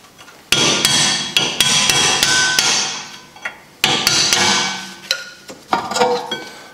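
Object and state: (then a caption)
Cast iron brake disc struck with a hammer. A hammer with a wooden handle knocks repeatedly on a large, solid cast-iron rear brake disc, still mounted on the hub of a Golf 5, while a gloved hand steadies it, to loosen the disc. Each blow is a sharp, bright metallic clang with a high ringing tone around 3.3 kHz that sustains and overlaps between strikes, coming in irregular bursts.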